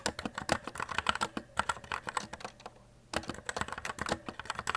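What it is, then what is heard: Plastic mechanical keyboard being typed on. Fingertips type continuously on the plastic keycaps of a white E-Element Z-88 RGB mechanical keyboard. About 27 quick, bright, crisp clicks with almost no ring, broken by a brief near-silent pause before the typing resumes.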